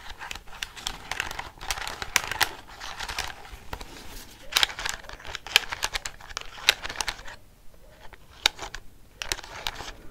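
Fingernails tap and scratch the keys and casing of a black plastic desk calculator held close to the microphone. The result is a dense run of sharp, bright plastic clicks over a crinkly, scratchy hiss, with a brief quieter stretch near the end before the tapping resumes.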